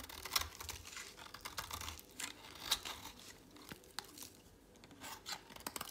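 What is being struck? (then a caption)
Bar of soap shaved with a blade. A thinned, dry, solid orange soap bar held in a hand is shaved with a utility knife blade, making dry, crisp scraping and crackling. Short bright shaving strokes and sharp snaps come at an uneven pace over a faint low hum.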